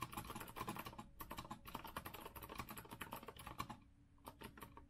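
Fast, continuous typing with the fingertips of both hands on a compact retro Azio mechanical keyboard with a rose-gold metal frame and round plastic keycaps, resting on a wooden desk. Dense, quick clicky keystrokes carry a bright tick around 1.1 kHz, then thin out into a brief lull near the end before a few final taps.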